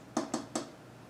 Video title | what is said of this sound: Apevia Aura RGB Pink Case | pretty sure this is plastic on the front it sounds like plastic